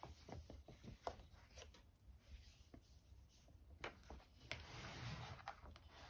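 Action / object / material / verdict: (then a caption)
tap / plastic steam iron housing / plastic / none. Long painted nails on both hands tap and scratch the casing and handle of a red and white plastic steam iron, with a hollow housing and water tank, resting on an ironing board. Quiet, irregular sharp clicks with almost no ring are mixed with soft, scratchy rubbing over a low background rumble.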